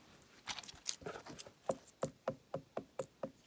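Knocks on a large old birch log with a crack running to the outside: a few irregular, softer taps, then eight evenly spaced, sharp knocks with a short ring around 535 Hz. The log is hollow, with rot and mould at the centre.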